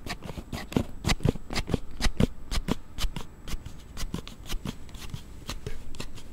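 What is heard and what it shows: A palm-sized hard plastic slide-type card case on a Galaxy Note7 phone, held in both hands, has its rear panel repeatedly slid open and shut by the thumbs. The result is a quick, uneven run of clicky snapping slides with short, sharp, dry transients.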